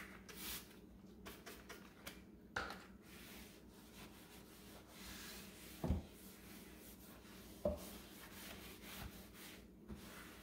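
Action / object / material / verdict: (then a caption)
scrape / painted particleboard cube shelf / particleboard / none. A rubber-gloved hand rubs and dusts the inner surfaces of a large blue-grey painted particleboard cube shelving unit with a cloth, its hollow open compartments holding a plastic basket on the lower shelf. Quiet, steady swishing and rubbing runs throughout, broken by a few short, dull knocks as the cloth and hand bump the shelf.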